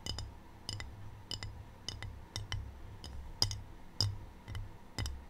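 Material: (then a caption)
Ceramic. Long painted fingernails tap on a small, empty rectangular white glazed ceramic tray with a black triangle print, held close to the mic. Sharp, bright clicks with a high ceramic tick come in quick pairs at an uneven pace, each dying away almost at once over a low background hum.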